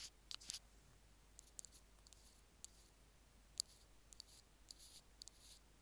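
Two bamboo ear picks tap and scratch near the minus button of a small, hollow, white plastic Apple earphone mic remote resting on a stone slab. Quiet, bright, dry clicks and short scratches come in scattered bursts over a low, steady hiss.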